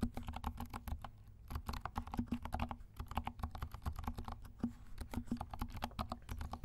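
A compact 68-key plastic mechanical keyboard with dark plastic keycaps and silent switches is typed on with the fingertips of both hands. Rapid, soft, muted clicks and thuds come through, mostly low and dull with little brightness. Each keystroke dies away almost instantly, with a brief slower stretch around the one-second mark.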